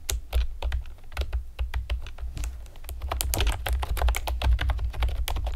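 Long painted nails and fingertips tap rapidly on a pastel plastic typewriter-style computer keyboard with round retro keycaps and hollow keys. The result is a quick stream of sharp, bright clicks and clacks that grows denser toward the end, over a steady low hum.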